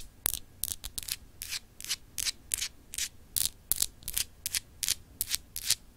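A small, solid, clear etched glass globe paperweight is scratched with long acrylic nails in quick strokes. Eighteen short, bright, hissy scratching bursts follow one another at a loosely irregular pace, each fading almost instantly, with little low-end body.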